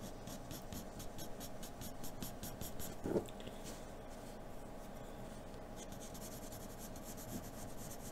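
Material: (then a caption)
Paper. A hand draws strokes with the graphite tip of a wooden pencil with a blue end across a large, flat sheet of white drawing paper bearing a graphite fairy portrait, lying on a dark surface. Soft, dry, scratchy strokes repeat in a quick rhythm, with a brief louder scrape around the third second. A steady, quieter shading rasp with bright, hissy edges follows.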